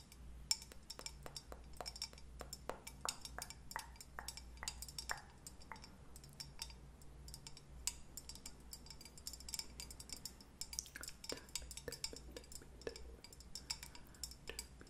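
Long painted nails rapidly tap a hollow pink-and-white leopard-print ceramic mug or candle holder held in both hands. The taps are quick, bright clicks and clinks that die away almost instantly, over a faint steady low hum.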